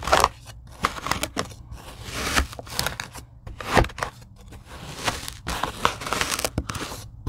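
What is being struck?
Tray of kinetic sand cut with a blade.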